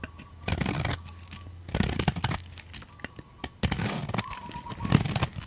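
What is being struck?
Bar of soap shaved with a blade.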